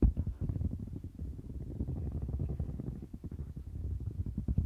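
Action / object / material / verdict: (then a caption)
scrape / silicone bristle mat / silicone / none. A hand rubs and scratches the bumpy surface of a light-blue domed silicone bristle mat with its fingertips and long nails. The result is a steady stream of soft, muffled scratching and rubbing that sits almost entirely in the low range, with no bright edge.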